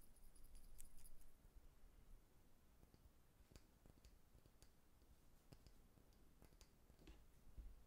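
A small amber-brown glass jar with a dark lid, apparently holding something, is held in the hands while fingertips and nails tap and click on the glass. Quiet, bright clicks come at an uneven pace over a soft low rumble.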